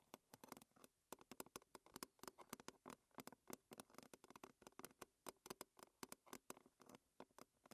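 Long red fingernails on both hands tap a thin, hollow, round silver-blue metal tea tin lid held upright. Around forty quick, quiet, bright ticks patter in an uneven rhythm. Each one is dry and dies away almost at once with a faint low-mid metallic tone.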